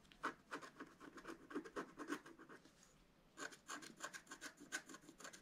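A pointed wooden stylus scratches fine lines into a flat, solid scratch art card, black coating over coloured foil paper about A4 in size, lying on a table. Quick, short, bright rasping strokes come in an uneven rhythm, pause briefly near the middle, then resume.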